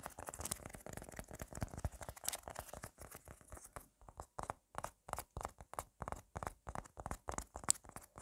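Long black nails scratch and tap fast and hard on a red squishy tomato toy made of solid soft foam. The first half is a dense, continuous run of dry, crinkly scratching. It then breaks into quick, separate taps and scrapes with short silences between them, each one dull and soft with a bright hiss on top and no ring.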